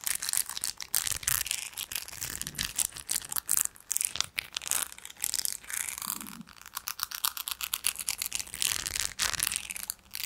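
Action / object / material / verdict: scrape / small textured drinking glass / glass / none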